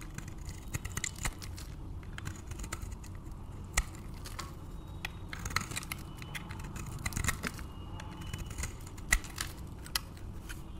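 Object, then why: Soap bar scraped with a metal blade. A metal blade scrapes and shaves strips from the surface of a solid, palm-sized bar of varnished, dry white soap. Quiet, crisp scraping and crackling ticks repeat over a low, steady rumble, with a few sharper, bright snaps standing out.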